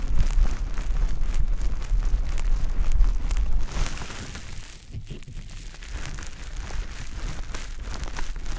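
A wet, pale-green konjac sponge puff is held in the hand and rubbed and squeezed against a dummy-head ear. The result is a dense stream of soft, low, wet squishing and crackling. It is louder for the first few seconds, then drops to a quieter squelch.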